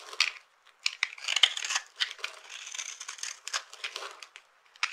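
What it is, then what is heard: Dry soap bar being scraped. A knife blade scrapes and cuts across the top of a solid rectangular bar of dry purple soap, held in one hand, with a dark, glitter-covered cut surface. Bright, dry crunching and crackling bursts come as small soap flakes break off, with no low end and brief quiet gaps between strokes.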